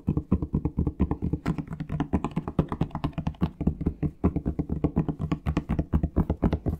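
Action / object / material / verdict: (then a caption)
tap / plastic shower gel bottle / plastic / none. Fingertips tap quickly on a plastic Palmolive shower gel bottle, making dozens of short, dull, hollow knocks in an uneven, rapid rhythm. The sound is mostly low, centered around 160 Hz, and each tap dies away almost instantly.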